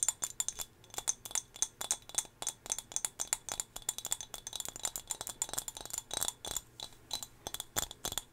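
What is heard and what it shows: Long fingernails tap a small, solid turquoise glass whale figurine held close to the microphone. A rapid, irregular stream of bright, crisp clicks sounds, each dying away almost instantly, with almost no low end and a glassy high ring running throughout.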